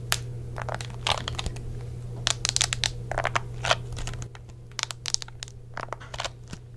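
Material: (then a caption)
Plastic. A white, hollow plastic Xbox 360 controller with a rubber chatpad keyboard is held in both hands while fingertips and nails press and tap its thumbsticks, buttons and chatpad keys and grip the plastic shell. It makes a rapid, irregular run of short, dry, bright clicks and crinkly taps that die away almost instantly. A steady low hum sits underneath for the first four seconds and then drops away, leaving the taps over a quieter background.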